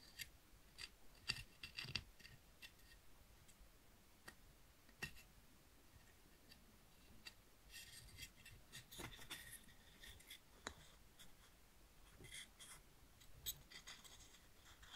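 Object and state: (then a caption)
Conch seashell. Fingertips rub and scratch the inner and outer surfaces of a hand-sized, hollow, empty spiral conch seashell made of calcium shell while holding it. Quiet, dry scratches and brief, sharp clicking ticks come in scattered bursts, with bright, high rasping bands during the longer rubs.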